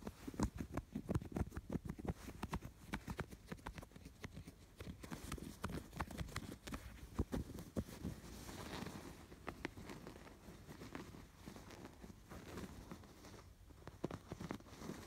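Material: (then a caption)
Canvas. Fingers scratch along the piped edge of a stuffed canvas pillow with raised yarn embroidery, then return to the embroidery. The result is a dense run of short, dry, low, thumping scratches and taps that fade quickly and sit at a fairly steady, quiet level.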